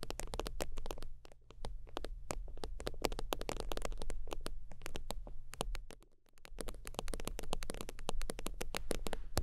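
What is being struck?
Synthetic-leather zip wallet.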